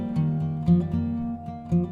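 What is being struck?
Nothing is struck.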